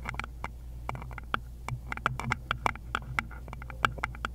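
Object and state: Wooden bowl tapped with nails.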